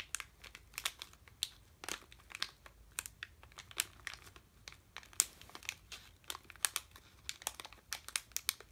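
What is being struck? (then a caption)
Sealed plastic candy bag. A sealed red plastic M&M's bag full of candy is held in both hands and crinkled with the fingertips. The result is quiet, bright, dry crinkling in quick, irregular bursts with almost no low end.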